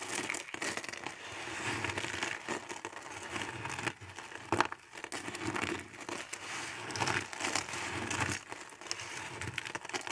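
Fingers crush and rub a pile of thin, dry teal soap flakes, producing a dense, continuous crinkling crunch with bright, crackly texture. The sound has short, dry bursts with no ringing and brief quieter dips between handfuls, most notably around four seconds in.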